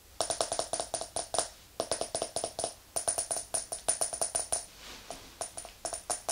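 Long acrylic nails tap the glass side and metal lid of a small round glass candle jar filled with white wax, standing on a fluffy rug. About thirty quick, bright clicks come in uneven bursts with short pauses, each carrying a brief glassy ring around 650 Hz with a high, thin shimmer above. Each tap dies away almost at once.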